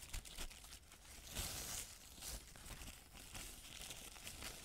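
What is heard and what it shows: A thin, crumpled white paper sheet is moved and rubbed by hand, making it rustle and crinkle. Dry, bright crackles come in a steady stream, with several louder crinkling bursts along the way.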